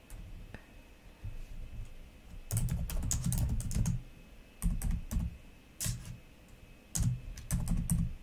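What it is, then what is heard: Plastic laptop keyboard. Fingertips and long nails slowly press and click individual plastic keys on a black laptop keyboard. Soft, low thumps come in bursts with sharp bright clicks, separated by quiet pauses. A faint steady tone runs underneath.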